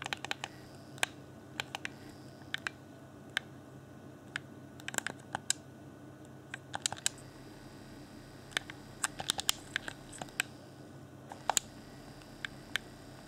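Fingertips tap and click the shell and the buttons near the top of a hand-sized, hollow, transparent plastic Xbox One Afterglow controller with pink LED lighting, mostly pressing its buttons. Sharp, bright, dry clicks and taps come at an irregular pace and stop instantly with no ring, over a faint steady background hiss.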